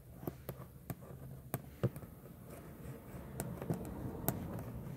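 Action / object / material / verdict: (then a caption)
tap / textured plastic steering wheel center pad with metal emblem / plastic / none. Long manicured nails tap and scratch the textured plastic airbag cover of a Jeep steering wheel center pad and its raised chrome-plated Jeep emblem letters. About eleven short, sharp clicks stand out over a low, hollow scratching rumble, with quick taps that die away almost instantly.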